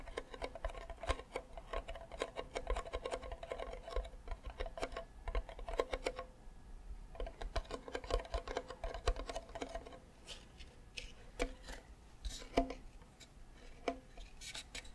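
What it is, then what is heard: Hollow wooden ukulele body. Fingertips and nails tap and scratch on the body of a hollow wooden ukulele with a flower sticker, held close to the mic. Quick, dry taps come in dense bursts with brief pauses, each with a hollow woody resonance around 690 Hz over a low rumble. Lighter scratching strokes add brighter, airy texture toward the end.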